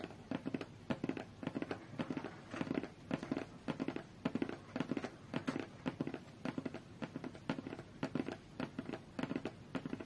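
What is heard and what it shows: Long fingernails tap and scratch the top and edge of a closed, medium-size, hollow white cardboard tablet box resting on a fur rug. Quick, dry taps with a hollow low-mid body come in rapid irregular clusters, mixed with soft scratchy rasps. The sound continues steadily for the whole clip, each tap dying away almost instantly.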